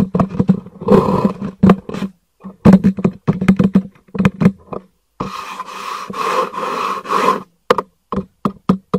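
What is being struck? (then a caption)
Cardboard packaging box. Fingers knock and tap on a hollow black cardboard product box held upright, producing dull, hollow thuds with a low resonant tone. Single knocks alternate with quick flurries of rapid tapping that blur into a rustling, scraping texture. Each hit dies away almost at once.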